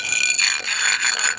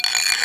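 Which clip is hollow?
The first.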